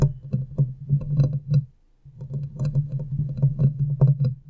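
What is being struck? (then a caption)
Metal mesh microphone grille. Long nails scratch and tap the hollow metal mesh head of a silver condenser microphone, producing dense, boomy low thumps and rustling scrapes over a steady low hum. The sound drops out briefly partway through, then resumes, and the hands partly pull away at the end.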